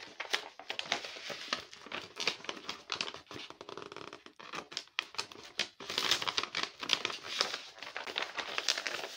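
A large Hello Kitty paper blind bag, covered in clear tape and filled with small packets, is held in both hands and squeezed and rubbed with fingertips and painted nails. It gives a dense run of bright, crisp crinkling with short, quick bursts and no low end. A tape dispenser sits nearby but is not used.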